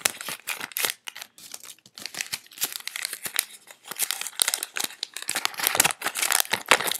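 A small stack of thin, worn cotton-paper US dollar bills is held in both hands while fingertips crinkle, rub and flick through them during sorting, with loose bills lying on a bed. The result is a dense run of crisp, bright crinkling and papery snaps in quick uneven bursts, with almost no low end and no ring after each flick.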